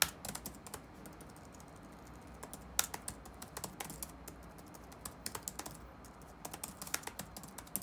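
Fingertips type rapid taps on the black plastic keys of an open laptop resting on a wooden desk. Short, bright clicks come in uneven bursts with pauses between, each dying away almost instantly over a faint steady low background hum.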